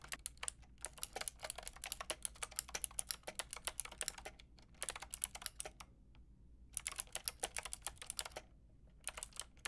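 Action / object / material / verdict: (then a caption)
tap / plastic mechanical keyboard with round keycaps / plastic / none. Long painted nails and fingertips tap the round plastic keycaps of a white-pink backlit mechanical keyboard. Bursts of quick, bright plastic clicks come in flurries with short pauses between them, each keystroke dry with almost no ring.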